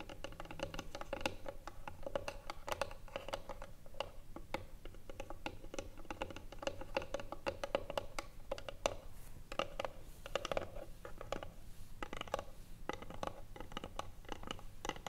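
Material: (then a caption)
Wood. Long nails tap rapidly on the top of the lid of a small hollow wooden box lying flat. The result is a quiet, continuous stream of short, dry clicks with a hollow woody tone around 570 Hz and very little ring.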